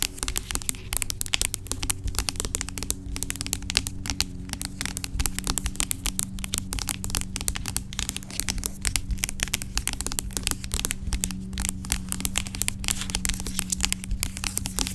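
Long acrylic nails rapidly tap and scratch the sides of a large, dark plastic pump bottle of aloe vera gel lying on its side, hollow and seemingly filled with gel. Dense, crisp clicks and bright scratchy crackles continue steadily throughout, over a low, constant hum.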